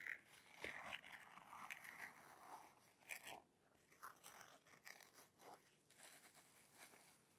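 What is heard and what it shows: Long fingernails scratch and tap on the fabric flap of a padded black nylon camera bag with plastic buckles that appears filled. The sound is quiet, dry, crisp scratching with irregular short taps, centered in the upper mids with bright hiss and almost no low end.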